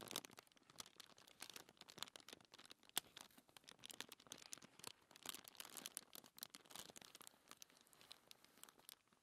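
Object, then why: Thin paper sheet on a table. Long nails and fingertips scratch and rub a thin white paper sheet lying on a table. The result is a quiet, steady stream of quick, bright crinkling and scratching strokes with almost no low end, plus one sharper tick near the three-second mark.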